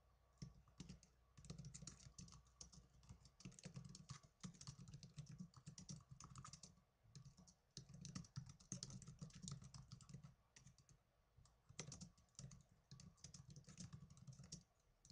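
Both hands type on the plastic keyboard of a small black netbook resting on a table, fingertips with short blue-painted nails striking the keys. Rapid, bright key taps and clicks come in dense bursts, with brief pauses in between and a low hum underneath.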